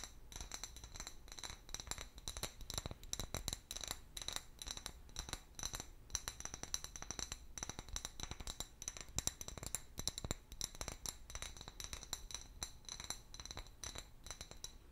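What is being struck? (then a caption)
Glass bottle tapped with fingernails. A medium, hollow, empty clear glass bottle with a paper label is tapped with long fingernails. It gives rapid, continuous light clicks and clinks with short, bright ringing tones and occasional scratchy scrapes.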